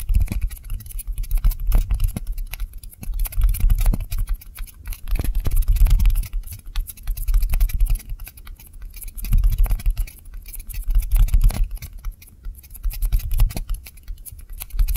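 Two small white solid styrofoam balls of the same kind, one held in each hand, are fast-tapped with long nails. The result is a dense, irregular patter of short, dry taps with a soft, low thud and light, bright clicking on top. The patter swells louder and fades back in waves.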